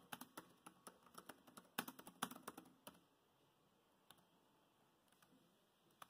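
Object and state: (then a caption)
Plastic laptop keyboard. Fast typing with the bare fingertips of both hands on a dark grey plastic laptop keyboard with low-profile chiclet keys built into the laptop body. About twenty short, crisp key clicks come in a quick, uneven burst for the first three seconds, then a quiet pause broken by a few isolated taps.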